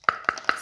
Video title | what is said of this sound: Collection gomille deco 3D petite sirène | C'est bien du bois.